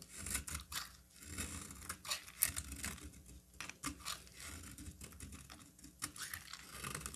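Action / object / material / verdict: scrape / bar of soap / soap / none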